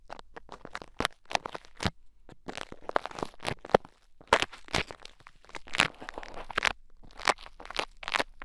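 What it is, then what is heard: Bead play foam, crunchy. Pink bead play foam packed into the ear of a mannequin head microphone is picked and poked with two thin wooden sticks. It gives a rapid run of short, bright crunches and crackles with almost no ring, some sharper pops standing out above a soft, continuous crinkling texture.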